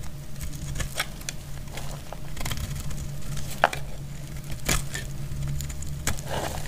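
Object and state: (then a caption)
Dry soap bar crackling as it is cut. A metal utility blade cuts into a solid, dry, dark purple bar of soap, making dry crackling and snapping sounds. A few sharper cracks stand out over a steady low hum.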